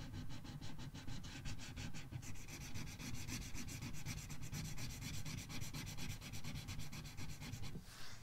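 A red marker tip rubs across an open paper coloring book page in fast coloring strokes. The rapid back-and-forth scratching forms a steady, bright swishing rhythm over a low, dull rumble, growing brighter and busier after the first couple of seconds before stopping just before the end.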